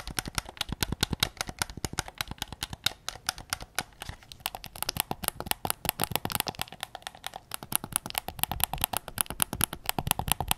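Fingertips tap rapidly on the front and back shell of a white PS5 controller made of hollow plastic. The taps are short, dry and clicky, with a bright edge and almost no ring. They run in a steady stream that thins briefly around the middle before picking up again.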